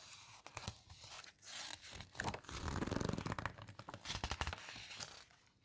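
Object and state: Glossy paper book pages.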